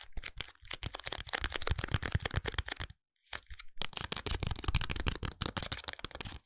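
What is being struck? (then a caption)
Paperboard pencil package. A long, narrow paperboard eyebrow pencil package is tapped and scratched with fingertips and nails, both lying flat and held upright. Quick, dense taps and scratchy strokes run for about three seconds, pause briefly, then resume. The sound is dry and papery with a soft low thump under a bright scratchy edge.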